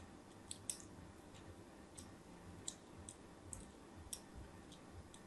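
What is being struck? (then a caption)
Bar of soap. A thin blade scores crosshatch lines into the surface of a solid white bar of soap held in the fingers. A series of short, crisp, bright scratching clicks sounds over a low, steady hiss, each cut dying away almost instantly.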